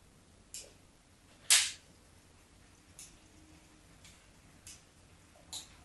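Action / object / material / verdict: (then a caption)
scrape / bar of soap / soap / none. A solid white rectangular bar of soap held in hand has its surface scored with a metal craft knife blade. Six short, bright scratching scrapes sound over a quiet background, with the second the loudest and the rest softer.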